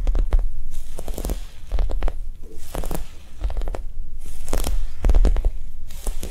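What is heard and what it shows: A Japanese cheesecake squishy, a soft foam toy, is tapped quickly and gently. The result is a run of soft, muffled, low thumps with faint crinkly bursts, a non-aggressive tapping sound.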